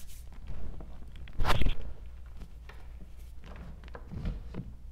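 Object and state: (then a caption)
Crushed gym chalk crumbs. Bare fingers with long nails dig into, squeeze and rub a bowl of small crumbled pieces of hard gym chalk block, white and pale green from a cornstarch paste coating, the dry granular crumbs giving a low, muffled crunching. A louder burst of crunching rises about a second and a half in, then fades back to soft grinding and rustling.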